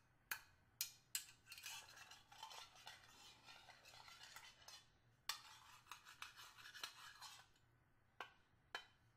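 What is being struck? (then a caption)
Stainless steel hip flask. A small, hollow, flat stainless steel hip flask is held in both hands and tapped and scratched with a small metal screwdriver near the cap and along its sides. Sharp, bright metallic ticks with very short ring alternate with longer stretches of quiet, gritty scraping and clinking. The overall sound is thin and high, with almost no low end.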